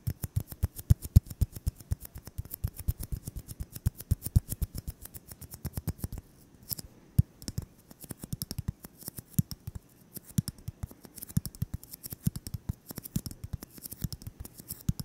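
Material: Styrofoam.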